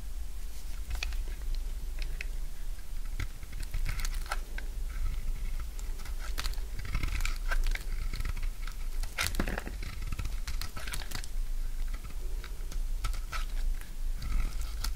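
A dry, solid yellow bar of soap held in the palm is shaved into curls with a utility knife blade. Repeated crisp scraping, cutting and crunching sounds run throughout over a steady low hum.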